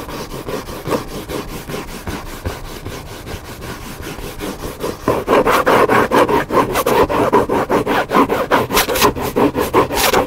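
Fingertips and nails scratch and rub across the top cover of a large hardcover cookbook with a black spine, lying flat on a table. About 26 rhythmic, papery strokes are heard, softer at first and then louder and brighter after about five seconds. The book sounds solid.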